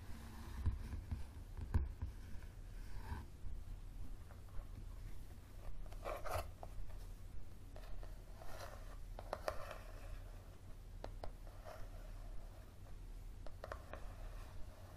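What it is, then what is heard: Paperback book cover. Fingertips and nails tap and scratch the paper-card cover of a yellow paperback book lying flat on a wooden table. Soft, irregular taps and dry scratching strokes rise and fall throughout, over a steady low hum.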